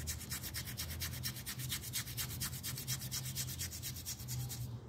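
A plastic toothbrush scrubs back and forth across a small, round, dirty and partly wet miniature pile carpet that lies flat on a tile floor, held down by fingertips. Rapid, bright, rasping bristle strokes repeat steadily for the whole clip over a constant low hum.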